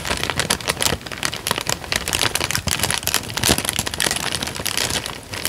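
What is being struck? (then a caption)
Thin paper sheet. A thin light-brown paper sheet held in both hands is pinched, bent and crinkled by the fingertips. The result is dense, continuous crinkling with bright, crackly snaps and rustles that swell and fade without a break, mostly high in tone with little low end.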